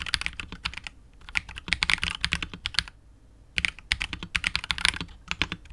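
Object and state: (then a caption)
Mechanical keyboard, plastic case and PBT keycaps. Fingertips of both hands type continuously on a KBD67 Lite R2 65% mechanical keyboard with KTT Wine Red switches, PBT keycaps and a hollow, clear translucent polycarbonate case. Rapid bursts of short, bright, clacky keystrokes with little low end come in two runs, separated by a brief pause just before the midpoint.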